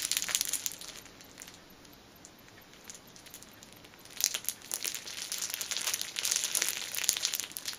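Long nails squeeze and crinkle the clear cellophane wrapper around a small black fabric pouch held upright. Dense, bright crackling fills the opening second, eases to sparse soft crinkles, then swells again into busy bursts of crinkling from about four seconds to the end.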